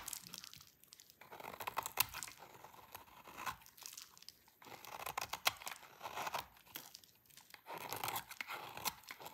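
A utility knife blade scrapes a hand-sized, solid salmon-pink bar of dry soap held in the hands, producing crunchy shavings. Bursts of dry, bright crunching and tearing scrapes come in repeated passes, separated by brief quiet gaps, with almost no low end.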